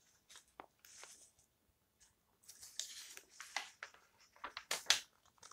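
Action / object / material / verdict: scrape / old paper book pages / paper / none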